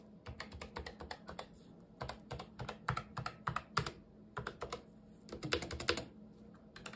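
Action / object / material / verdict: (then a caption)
tap / plastic low-profile keyboard / plastic / none. Gloved fingertips type on a full-size black Razer Deathstalker V2 Pro low-profile wireless keyboard with plastic keycaps, lying unwrapped on a white table. Quick bursts of crisp, bright key clicks, each with a soft low thud, come in runs separated by short pauses, over a faint steady low hum. Each click is short and dies away almost at once.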